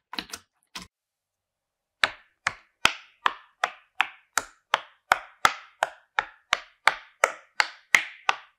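Fingertips press and pop the hollow domed bubbles of a swan-shaped pastel rainbow silicone pop-it fidget toy lying flat on a white surface. A few quick pops are followed by a short pause, then about eighteen evenly spaced, dry pops, one by one. Each pop is a crisp, bright click with almost no ring.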